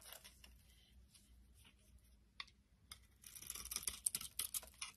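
A solid white soap bar held in the hand is shaved with a box-cutter blade, peeling off thin flakes. Faint, scattered scraping rasps give way to a denser run of crisp, bright shaving strokes in the last two seconds. There is a low steady hum underneath.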